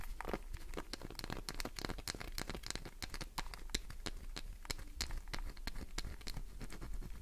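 Long nails rapidly scratch the surface of a solid green glycerin soap bar held in the palm, sending shavings falling. A dense run of short, bright, crisp scratches and crackles follows one after another over a low, steady hum.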